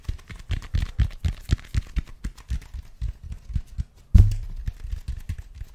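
Fingertips tap and scratch on the textured expanded-foam surface of a large black foam roller held beside and behind the mic, giving a quick run of soft, muffled low thuds with faint scratchy texture. After a brief pause, one louder, deeper thump lands near the end, trailing a short low rumble before the light tapping resumes.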